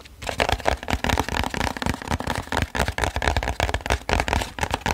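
A flat, printed, hollow cardboard box is held in the hands and moved around the mic while fingertips and nails tap and scratch the cardboard. The result is a quick, continuous run of dry, crackly taps and scrapes, each with a low hollow thump and a short, bright edge that dies away almost at once.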